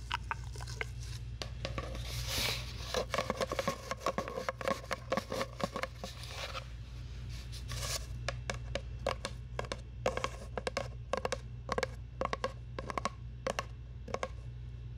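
Long nails scratch and tap a long, hollow brown cardboard tube held beside the mic. For the first six seconds a dense, rustling scratch runs with a hollow tone around 500 Hz, then it gives way to quick, separate dry taps that die out almost at once. A steady low hum sits underneath throughout.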